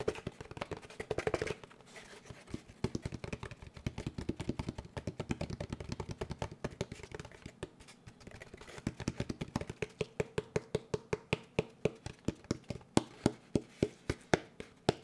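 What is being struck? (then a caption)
Molded paper pulp packaging tray. A large molded paper pulp packaging tray with a textured surface, held upright, is tapped quickly with the fingertips of both hands. The result is a fast patter of short, dry, muffled taps with a low, hollow body. Toward the end the taps become more spaced out and slightly louder.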